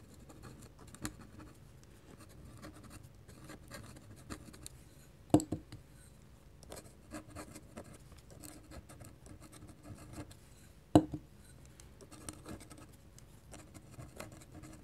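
A fine-nib ink pen scratches repeated hatching lines across a flat white sheet of drawing paper already covered in an ink sketch. Soft, dry scratching strokes run throughout at a low level, broken by a couple of sharper, louder clicks around the middle and two-thirds of the way through.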